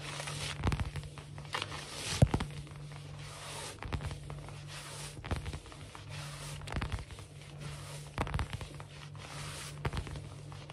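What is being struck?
Wood-look laminate floor.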